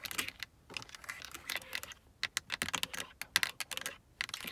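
Long acrylic nails tap and scratch across a hard plastic car door armrest switch panel with a carbon-fibre look and several window buttons, a solid mounted panel. A rapid, uneven run of sharp, bright clicks and light scrapes sounds dry and close, with almost no low end and no ring, separated by brief pauses.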